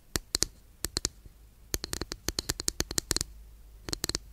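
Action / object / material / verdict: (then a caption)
tap / flat wooden incense holder tapped and scratched with fingernails / wood / none. Long nails scratch and tap a long, flat, thin, solid wooden incense holder, making about twenty short, dry, bright clicks in irregular clusters with quiet pauses between them. Each tap stops almost instantly, leaving no ring.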